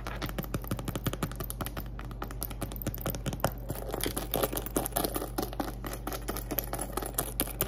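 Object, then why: Glitter vinyl zippered cosmetic pouch. Long acrylic nails rapidly tap and scratch the surface of a small, soft-sided pink glitter vinyl (PVC) zippered cosmetic pouch filled with items, first as it rests on a table and then as it is held up. A dense stream of quick, dry clicks and scratchy scrapes sits over a steady low hum.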